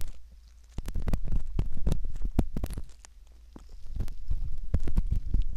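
A metal ear pick slowly scratches around the canal entrance of a soft, solid silicone ear model. Close, muffled, low scraping and rubbing is heard, dotted with dense little crackling clicks. It comes in two busy stretches separated by a quieter pause midway.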